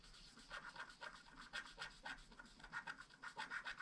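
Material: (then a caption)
Wax-coated paper. A wooden stylus rubs and scratches the coating of a flat black, wax-coated scratch art card near the flowers. About twelve quiet, dry scratching strokes come in an uneven rhythm, each a short rasp with a slightly squeaky edge around 1.5 kHz and a bright hiss above.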